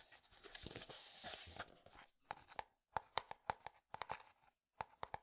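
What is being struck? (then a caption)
Plastic bottle partly filled with liquid. A clear plastic bottle partly filled with liquid is handled with a fingertip and nail. It starts with about two seconds of dense, bright crinkling and scratching. Then comes a quick series of sharp, distinct taps with a hollow mid-pitched ring, separated by short pauses.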